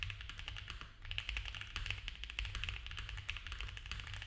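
Both hands type fast with their fingertips on a compact, foam-filled mechanical keyboard with cream ABS keycaps on a dark case and a polycarbonate plate. A dense, continuous stream of quick, short, bright plastic clacks runs over a steady low hum, with the taps dying away almost instantly.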